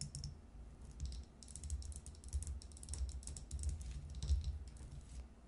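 Long nails tap quickly and irregularly on a glass jar about two-thirds full of small brown seeds, standing upside down on its metal lid. The taps come out as short, bright clicks with almost no ring, over a steady low rumble.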